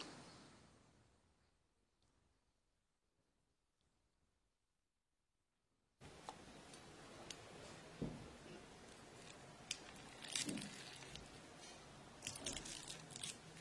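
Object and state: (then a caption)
Crisp baklava. Homemade walnut baklava is cut and served, its layers crackling and crunching in sharp, bright bursts after a quiet start. The crisp crunch shows the pastry is still crunchy even though the syrup was poured three days earlier and has soaked in well.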